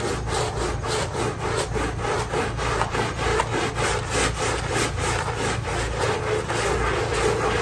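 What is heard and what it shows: A short handheld stiff-bristle brush scrubs a small pink fabric pile rug, wet with thin foam, by hand in back-and-forth strokes. It makes a steady, slightly uneven rhythm of scratchy, bright swishes, just under two strokes per second, over a low constant hum.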